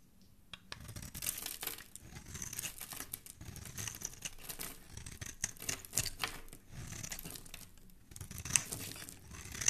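A black blade scrapes across the surface of a small, solid, oval yellow soap bar held in one hand, shaving off fine, crumbly flakes. The sound is a steady run of crisp, bright, dry scratching strokes in short bursts, with some faint low rumble underneath.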